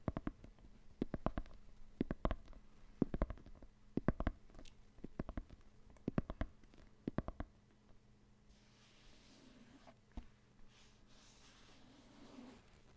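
Fingertips and nails tap and scratch the synthetic leather panels of an inflated, hollow soccer ball resting beside the microphone. Clusters of quick, dry, sharp taps with no ring repeat for about seven seconds. They give way to quieter, brighter soft scratching with a few isolated taps over a faint steady low hum.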